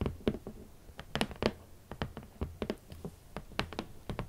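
Long nails and fingertips tap on the lid of a large, rigid, red cardboard shoe box, producing about nineteen short, dry, hollow taps at an uneven pace. Each tap has a low, boxy thump near 220 Hz with a crisp, bright click from the nails, and dies away almost instantly.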